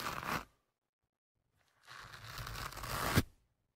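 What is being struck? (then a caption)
Foam microphone windscreen. Fingertips and a thin metal pick rub and scratch the soft, porous black foam windscreen on the left microphone, making a close, dry tearing scrape. A short burst of scratching is followed by a pause, then a longer scraping stretch that swells and ends in a sharp, bright peak before cutting off.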